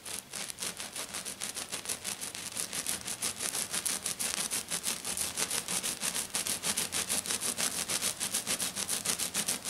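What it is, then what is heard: Glitter-covered sheet being scratched. Both hands with black-painted nails scratch fast across a flat sheet covered in silver glitter. About 40 quick, bright, rasping strokes repeat in a steady rhythm, and each one fades almost at once.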